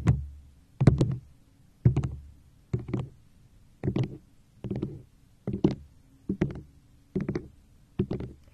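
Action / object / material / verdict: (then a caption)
tap / plastic cup / plastic / none. A tall, hollow, apparently empty teal-green plastic cup with a yellow crescent-moon decoration on the front is held upright and tapped and scratched with long acrylic nails. About ten short bursts of quick double taps and scratches land roughly once a second, giving dull, hollow, low-pitched knocks that die away almost at once.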